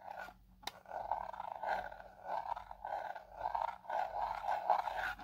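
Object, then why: Hard plastic drone controller housing. Fingertip and short nail tapping and scratching the battery cover panel on the back of a black hard plastic drone remote controller with a hollow handheld housing. The result is a soft, hollow, repeated scratchy rasp in uneven bursts, centred in the low-mid range with a faint high hiss.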